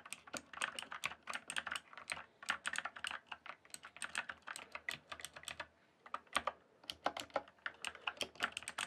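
Fast fingertip typing on a full-size backlit mechanical keyboard with plastic keycaps produces a rapid stream of short, bright clicks and clacks. The keystrokes come in quick bursts with a brief pause just before the six-second mark, then the typing resumes.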